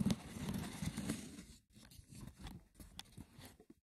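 Fingernails scratch the sides and then the top of a small, hollow, rectangular woven wicker box with a lid. A dense, rough rustling scrape gives way to quieter, sparser scratches with a few sharp catches on the weave, and the sound stays mostly low and dry.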